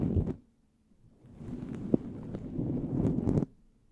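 A fluffy synthetic faux-fur windscreen covering a handheld recorder mic is rubbed and scratched with the fingertips of both hands in a shampoo-massage motion. A short burst of dense, muffled rustling gives way to near silence, then the low, crackly scrubbing swells back with a sharp tick and keeps building before cutting off abruptly.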